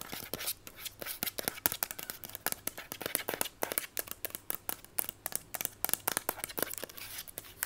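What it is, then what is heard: Plastic instant camera. A small mint-green Instax-style plastic instant camera with a hollow body is held in the hand and tapped and scratched quickly all over its casing with long white acrylic nails. Many fast, sharp, bright clicks and ticks are heard, mixed with quick scratchy rasps over a faint hum.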